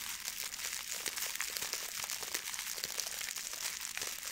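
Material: Plastic foil.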